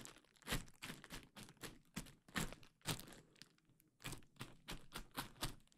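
A large sheet of clear plastic bubble wrap is draped over a microphone while fingers pinch and pop the bubbles and crinkle the sheet. Sharp, bright pops snap out in an irregular series over a dry, crackling plastic crinkle, each burst dying away almost instantly at a low overall level.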